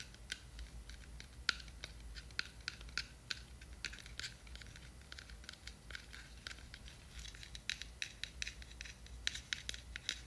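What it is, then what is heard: Plastic glitter jar. Long nails tap the white lid and scratch the sides of a small clear plastic jar with a blue label, full of glitter. Many quick, bright clicks and taps land over a soft, dry scratching, with a steady low hum underneath.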